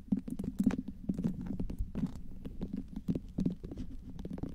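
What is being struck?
Whole tomato tapped and scratched with long fingernails.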